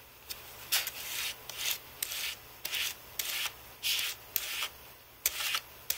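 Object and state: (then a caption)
Computer keyboard brushed. A thin white Apple keyboard with plastic keys on an aluminium base is swept with a carbon-fibre brush held in one hand, in repeated rubbing strokes along the key rows. About ten separate bright, hissy brushing bursts are heard, some starting with a sharp tick, with quiet gaps between them and almost no low end.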